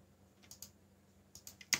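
Fingertips type fast on a backlit mechanical keyboard with black plastic keycaps, giving six short, bright, clacking keystrokes that die away almost at once. The strokes fall in two loose bursts over a faint low hum, and the last stroke is the loudest.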